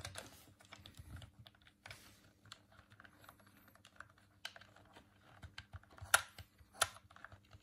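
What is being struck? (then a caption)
Plastic game controller. A hollow white plastic Dreamcast controller is held in both hands while the thumbs press its buttons and tap the plastic shell. The result is quiet, irregular, dry clicks and light tapping with a bright edge, ending in two sharper, louder clicks.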